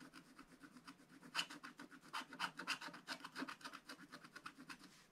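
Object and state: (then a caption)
Scratch-art paper scratched with a wooden stylus. A wooden stylus scratches the top right window area of a black-coated scratch-art paper page with repeated short strokes. The result is a quiet, dry, bright scraping that comes in quick rapid bursts, about four per second. It gets louder through the middle and then fades.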